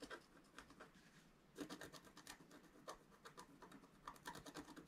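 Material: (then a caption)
Coated paper. A wooden stylus held in the right hand scratches lines near the bottom right of a flat black coated scratch-art paper sheet. Short, quiet, dry scratching strokes come in bursts, with a bright raspy edge and brief pauses between them.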